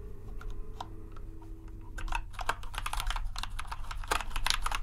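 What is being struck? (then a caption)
Plastic mechanical keyboard. Fingertips type rapidly on a compact white plastic RGB mechanical keyboard. Sparse, bright key clicks speed up after about two seconds into a dense, fast clatter, over a steady low hum.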